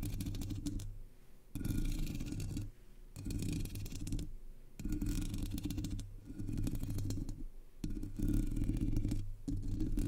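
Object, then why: Metal mesh microphone grille. Long polished nails scratch and tap the hollow black metal mesh grille of a Blue Yeti microphone. Dense, rumbling scratching comes in repeated bursts of a second or two, separated by quieter pauses. The sound is heavy in the low end, with a faint bright hiss on top.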